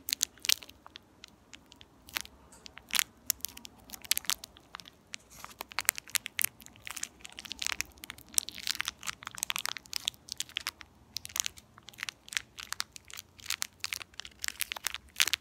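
A small, empty, purple metallized plastic candy wrapper is squeezed and crinkled between the fingertips of both hands with long nails. Dense, bright, crackling crinkles come in quick irregular bursts with almost no low end, each snap dying away instantly.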